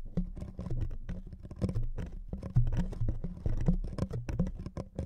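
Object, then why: Thin wood veneer sheet. Fingernails scratch the surface of a thin wood veneer sheet resting on two microphones. The result is a dense, irregular patter of short, dry scratches and soft taps, with a heavy low-pitched thump under each stroke and quick decay.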